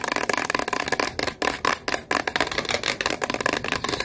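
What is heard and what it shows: A white, hand-sized, hollow plastic lotion or body-spray bottle with a purple cap is held in both hands while long, white-tipped acrylic nails tap and scratch fast on its sides. The result is a dense, rapid stream of crisp, bright clicks and scratchy rasps with almost no low end, briefly thinning around the middle before resuming at full pace.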